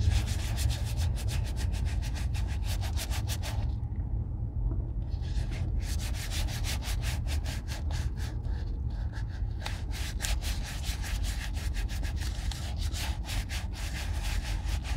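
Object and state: Leather boot being rubbed.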